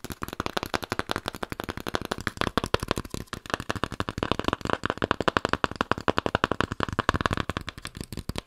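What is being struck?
Cardboard surface.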